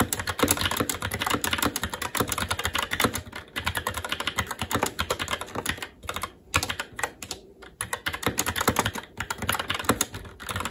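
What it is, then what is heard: Plastic mechanical keyboard being typed on. Continuous fast typing with both hands' fingertips on a SteelSeries Apex 7 TKL mechanical keyboard with Red linear switches and plastic keycaps on a metal top plate. The result is a dense stream of short, bright clacks with a few brief pauses.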